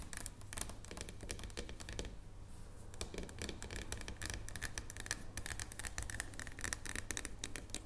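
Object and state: Dark chocolate bar tapped with fingernails.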